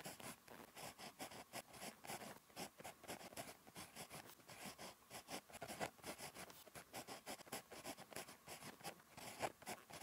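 A ballpoint pen tip scratches across a thin, flat lined paper notebook page while writing Korean handwriting. The sound is a quiet, dry series of short scratchy strokes with bright, papery hiss and little low end. Each stroke stops almost at once.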